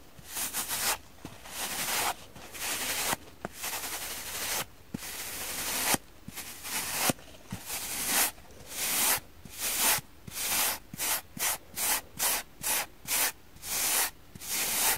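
Fingertips and long painted nails rub and scratch across the green fibrous scouring-pad face of a dry, hand-sized rectangular kitchen sponge with a soft porous green foam body and a red layer, held in both hands while other sponges lie still on a wooden table. The result is a bright, dry, scratchy rasp in bursts of irregular length, settling into shorter, quicker back-and-forth strokes toward the end.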